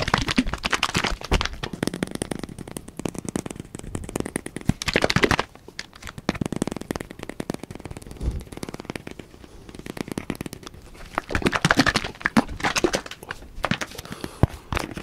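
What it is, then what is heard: Plastic bottle with liquid. A clear plastic bottle, partly filled with yellowish liquid and closed with a black cap, is held in the hand and shaken while fingertips handle the cap. Rapid, dense crackling clicks and plastic crinkles mix with sloshing liquid in loud bursts, with a quieter stretch in the middle before the crackling builds again near the end.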